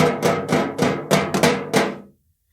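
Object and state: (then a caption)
Tin can with a small object rattling inside. A tin can holding a small System76 item with the logo printed on it is shaken. Seven sharp rattling knocks ring briefly and then fade to silence.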